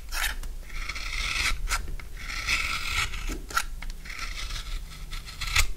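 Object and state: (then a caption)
Dry soap bar, carved. A utility knife carves and shaves the edges of a solid bar of dry blue soap. Long, dry, raspy scraping strokes repeat with short crisp cutting crunches between them, bright and gritty over a faint low hum.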